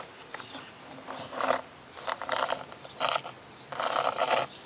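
Long purple fingernails scratch and tap across the textured surface and carved "WELCOME" letters of a solid grey cast stone or concrete garden plaque lying on the ground. Four separate bursts of dry, gritty scratching rise out of a quiet hiss, with a rasping mid-range tone and a bright edge.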